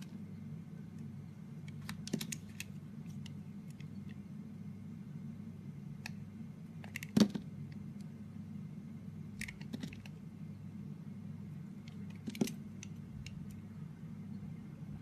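A utility knife blade scrapes and slices a solid, dry brown-yellow household laundry soap bar with stamped lettering, held in a hand with painted nails. Sharp, bright scraping and cutting clicks stand out over a steady low hum, with the loudest cuts near 2, 7 and 12 seconds.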